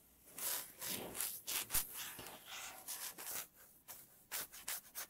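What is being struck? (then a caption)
Wooden tabletop scratched with fingernails. Long natural nail tips scratch along the surface of a solid, light wooden tabletop. A run of dry, bright rubbing strokes rises and falls with short pauses between them, and a few sharper clicks stand out among them.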